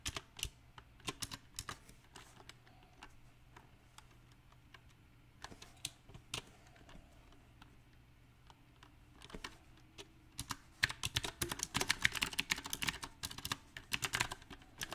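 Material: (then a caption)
Plastic. Fingertips type slowly and unevenly on a compact, backlit mechanical keyboard with round plastic typewriter-style keycaps. Distinct, bright, dry key clicks come in scattered, irregular bursts and pause briefly at times. In the last few seconds the typing becomes faster, denser and louder.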